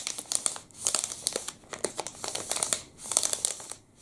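A long black and red plastic wrapper on a full Pepe liquorice stick is crinkled and rubbed with the fingertips. It makes a steady run of bright, sharp crinkles and crackles with little low end, coming in quick bursts with brief pauses between them.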